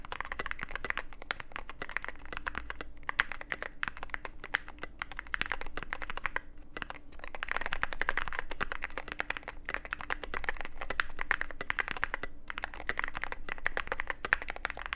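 Fingertips type steadily on a Cyberboard mechanical keyboard with plastic keycaps and a black aluminum case. The result is a dense, continuous stream of short, sharp clacks and taps with a bright click edge, rising and falling slightly in intensity, over a faint low hum.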